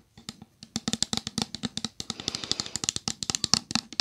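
A pink opaque plastic Method body wash bottle, medium size, hollow and apparently full, is tapped and scratched with long gel-polished nails. About 30 quick, bright clicking taps come in an uneven rhythm with no ring, and a soft scratching hiss runs under the taps in the second half.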